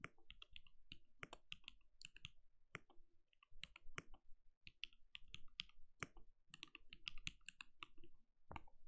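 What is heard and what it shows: A compact RGB-lit mechanical keyboard with a translucent plastic case and plastic keycaps sits on a desk and is typed on steadily with the bare fingertips of both hands. A rapid, uneven stream of short, crisp clacks is heard, each with a bright click over a soft low thud that dies away almost instantly.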